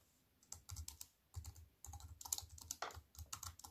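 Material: Plastic.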